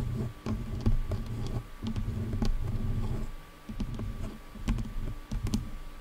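Long nails tap and scratch along the sides of the black plastic headband of over-ear headphones. Dense, low rubbing scrapes are broken by sharp, dry clicks that die away almost at once, over a faint steady hum.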